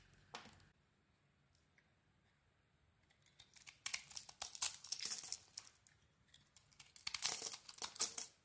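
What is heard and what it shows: A metal blade scrapes a strip off a solid red embossed soap bar with a cream core, held in the hand. A short crisp scrape is followed by a quiet pause, then longer stretches of dry, bright crinkling and shaving texture come in uneven bursts. The sound is soft and almost entirely high-pitched, with no low end.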